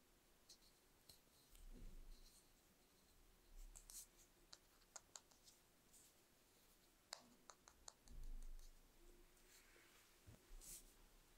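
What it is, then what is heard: Metal paint tube. A fingertip and nail tap and click on a small metal (likely aluminum) watercolor paint tube with a label and cap, held in one hand over a painted paper sheet. About eighteen quiet, sharp, bright clicks come at an irregular pace with almost no ring, over a soft low rumble that swells a few times.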